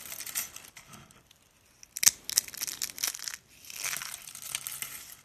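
Fingers and a palm squeeze and crush thin, rolled, rose-shaped curls of pink dry soap, made of solid brittle layers, into flakes over a speckled countertop. The sound is a bright, dry crinkling and crackling, with a burst of sharp, crisp snaps in the middle. Softer, hissy crumbling follows as the curls break apart into flakes.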